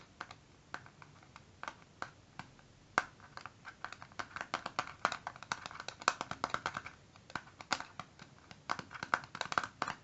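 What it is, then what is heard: Plastic eyeshadow palette. A small, hollow, flat rectangular clear plastic eyeshadow palette with a black base and round colour pans inside is held in both hands and tapped with short fingertips and nails on its lid and edge. Quiet, dry, clicky taps come irregularly, sparse at first and then in quicker clusters, each with a bright plastic tick and almost no ring.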